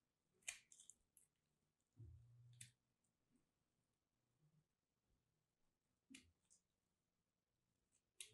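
A small solid piece of dried soap coated in blue-pink-lilac starch, held in long-nailed fingers, is cut and scraped with a metal craft blade so it crumbles. Quiet, bright crunchy clicks and brief crackling scrapes come in scattered bursts, with a duller, lower scrape in between and faint rustling between cuts.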